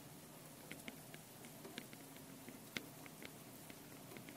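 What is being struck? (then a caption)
Metal mesh microphone capsules on a handheld recorder. Long painted nails tap and scratch the two metal mesh microphone capsules on top of a small handheld Tascam recorder. Quiet, sharp, bright clicks and brief scrapes are scattered over a steady low hiss, with the strongest tap near the middle. Each tap dies away almost instantly.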